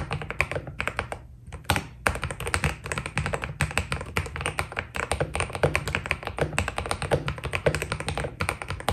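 Continuous two-handed fingertip typing on a white Keydous NJ80 mechanical keyboard with PBT plastic keycaps. Quick, dense key taps come in an even stream, each a short, dry clack with a bright click on top and a deep, rounded body underneath. A brief pause near the 1.5-second mark interrupts the stream before the typing resumes.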